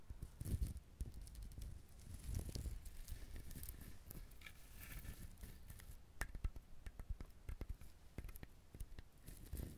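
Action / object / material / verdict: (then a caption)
tap / whole coconut shell / coconut shell / none. Fingernails tap and scratch on the ridged, hard shell of a whole coconut held close to the microphone. The result is a quiet, irregular run of short, dry, low thuds mixed with soft scraping and brief crisp clicks, each tap dying away almost instantly.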